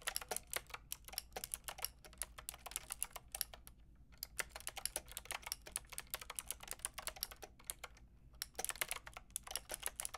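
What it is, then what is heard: Plastic mechanical keyboard being typed on. Fingertips with long red nails type and tap on a Lofree mechanical keyboard with a plastic frame and round keycaps. Quick, bright, dry clicks come in dense bursts, with brief pauses near 4 and 8 seconds, over a faint low hum.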